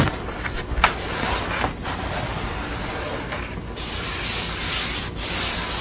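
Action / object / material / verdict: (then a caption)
scrape / thin painted art board / painted board / none. Long acrylic nails scratch and tap the painted surface and edges of a flat portrait painting on a thin, solid grey art board lying on a towel. A steady, bright, dry scratching runs throughout, broken early by two sharp taps, and the scratching grows hissier and brighter toward the end.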